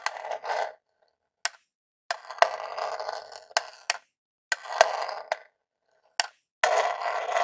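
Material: Plastic.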